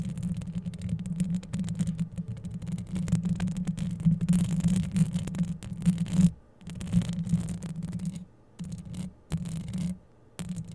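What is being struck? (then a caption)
Metal mesh microphone grille. Long yellow acrylic nail tips scratch and tap the rounded hollow metal mesh head and metal body of a grey microphone. The result is a dense, close-up scraping rumble with a steady low hum, broken by brief silent gaps near the end.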